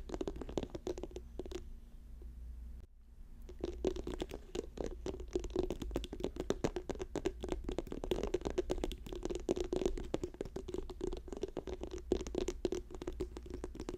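Fingers tap rapidly on a plastic tube, making a dense, continuous patter of quick, hollow clicks with a mid-pitched tone over a steady low hum. The tapping briefly drops out just before the three-second mark, then resumes at the same fast pace to the end.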